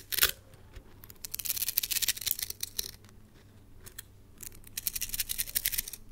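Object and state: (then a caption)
Plastic coil spring toy. A palm-sized red plastic coil spring toy is shaken and flipped between hands so its coils clack together. A sharp opening clack gives way to dense runs of bright, crisp rattling clicks that fade briefly in the middle before building again toward the end.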